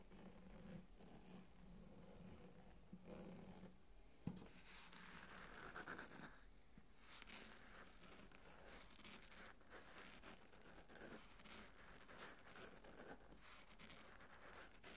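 A large closed hardcover book, Il Trono di Spade, with a dark, textured, embossed solid cover is scratched and rubbed with the fingertips and nails of both hands across its cover and edge. The result is a quiet, continuous dry scratching and rustling with a low hum underneath and occasional sharper taps.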